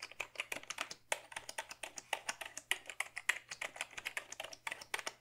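Fingertips type steadily on a black Dell keyboard made of hollow plastic, producing about 38 quick, dry, bright clacks with almost no ring. A faint, steady low hum sits beneath the keystrokes throughout.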